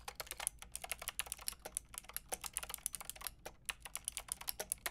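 Fast typing with fingertips and long red nails on a Lofree plastic mechanical keyboard with a translucent plastic frame and round plastic keycaps. It produces a quick, steady stream of short, bright clacks with almost no ring, over a faint low hum.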